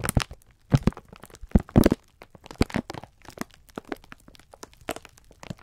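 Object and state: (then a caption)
Plastic-wrapped pack of sponge scourers. Both hands squeeze and rub the clear plastic film wrapper of a full pack of sponge scourers with their fingertips. The result is a run of dry, irregular crinkles and sharp crackles that stop abruptly with no ring. The louder bursts come early, and the crinkling tapers into softer, sparser crackles.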